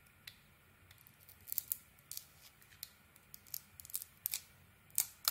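A hand-held solid purple Isana Med bar soap decorated with gold studs is shaved into curls with a snap-off metal blade, revealing a cream-colored core. About fourteen quiet, crisp, bright scraping clicks sound at an uneven pace over a faint low hiss, each one dying away almost instantly.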